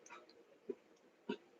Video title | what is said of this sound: 1000 SUBSCRIBERS!! | sounds like plastic